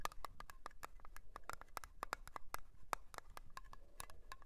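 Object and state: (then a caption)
Metal cream tin tapped with nails. Long polished nails tap and scratch a small round blue metal Nivea cream tin, lid on, standing on a fur rug. Quick, dry clicks follow one another in a fast, uneven patter, each with a bright metallic tick around 1.2 kHz that dies away almost instantly. Faint scratching fills the gaps between them.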